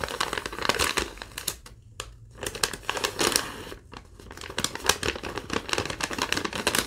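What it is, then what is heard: Thin paper sheet being crumpled. A single thin sheet of yellow lined legal-pad paper, held in both hands, is crumpled and crinkled with fingertips and long nails. Dense, bright crackles and crisp rustles come in bursts, with brief quieter lulls around two and four seconds before the crinkling picks up again.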